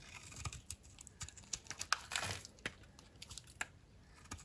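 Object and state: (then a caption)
Dry soap bar being cut. A solid, dry blue soap bar held in the palm is cut and flaked into brittle pieces with a utility knife blade. Many short, bright crackling snaps and scrapes come one after another, with a longer rasping scrape near the middle.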